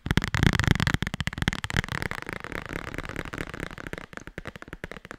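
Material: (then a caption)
Cardboard, paper. Long red nails rapidly tap and scratch the cover and spine of a small, thick, solid black hardcover bible. The result is a fast, dense run of short, dull thuds, heaviest and loudest in the first second, mixed with a dry, brighter scratching texture that thins out toward the end.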